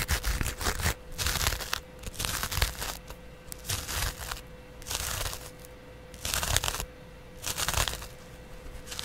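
A flat, palm-sized yellow cellulose sponge with a porous, textured surface is held in one hand and scratched with a double-edge razor blade. Irregular bursts of dry, bright, broadband scraping and crinkling come and go, with quieter gaps between strokes, over a faint steady hum and low rumble.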